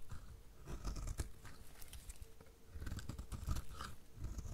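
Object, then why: Bar of soap. A metal utility blade repeatedly shaves crumbly flakes off the edge of a solid, dry pink bar of soap. The result is a series of soft, low crunching scrapes with short bursts of bright grit.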